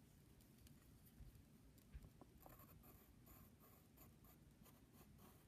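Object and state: Pencil scratching on a padded paper envelope.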